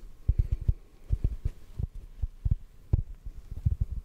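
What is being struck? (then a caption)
Hand-sized foam sponge. A rectangular, hand-sized yellow porous foam sponge is held in the hands and tapped with fingertips. The result is a quick, irregular series of soft, dull, muffled thumps that are almost entirely low and deep, with no ring after each tap and a faint low hum underneath.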